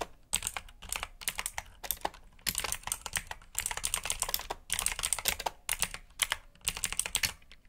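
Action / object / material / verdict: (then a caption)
tap / plastic mechanical keyboard / plastic / none. Fingertips of both hands type steadily on a black, backlit mechanical keyboard with blue switches and plastic keycaps resting on a desk mat. Rapid, bright, clicky keystrokes come in quick bursts separated by brief pauses, each click dying away almost instantly.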